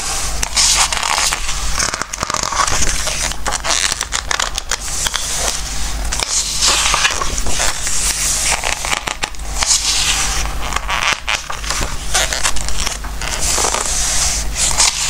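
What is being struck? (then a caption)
Softcover book with glossy coated paper pages. Fingertips and a flat palm rub over the pages of a softcover Christmas book printed on glossy coated paper, and the pages are turned. The dense, continuous sound is a bright, squeaky, crackly rustle of coated paper rubbing, with a steady low hum underneath.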